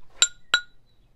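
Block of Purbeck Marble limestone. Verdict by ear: Dense.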